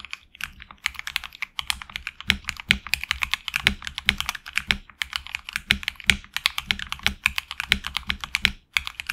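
Fingertips type continuously on a HyperX Alloy Origins Core tenkeyless mechanical keyboard with lubed linear HX Red switches, red and black PBT plastic keycaps, an aluminum plate and a hollow case. The result is a steady, rapid stream of short, bright plastic clacks that stop almost instantly, with a faint low thump under the louder strokes.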